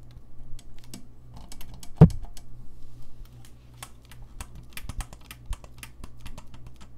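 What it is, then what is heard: Saxophone keys tapped. Fingertips tap and click the keys of a gold-lacquered brass saxophone, making a steady run of short, dry clicks with bright edges over a constant low hum. One heavier thump stands out about two seconds in, and the clicks stop quickly without ringing.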